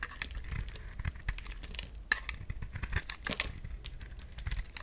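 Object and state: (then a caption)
Bar of soap being scraped. A utility knife blade shaves and scrapes a solid oval green bar of soap held in the hand, peeling off strips that fall away. Dry, crackly scraping and brittle snapping bursts repeat over a soft low rumble, with bright crisp edges on each stroke.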